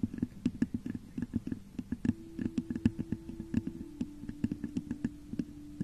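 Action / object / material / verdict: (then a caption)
tap / textured glass vase / glass / none. Long nails scratch and tap rapidly on the top of a hollow, textured clear glass vase turned upside down over a microphone. The result is a quick, uneven run of dull, low, hollow taps with a faint scratchy texture. Each tap dies away almost at once, and a soft steady tone hums underneath from about two seconds in.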